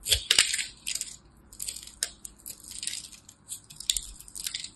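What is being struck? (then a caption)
Bar of soap cut with a knife. A utility knife cuts the scored surface of a solid blue-and-white striped soap bar held in the hands, breaking it into small cubes that fall away. Crisp, bright crunching and scraping cuts come in irregular bursts, with a few sharp ticking snaps and almost no low end.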